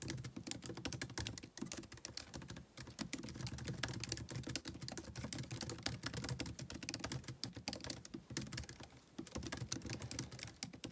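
Fingertips of both hands press and tap the white plastic keys of a MacBook Pro keyboard set in an aluminum body, typing continuously. Rapid, short clicks with bright, crisp tops ride over a soft, low thump from each keystroke, broken only by a few brief pauses. The steady, quiet clatter lasts about eleven seconds.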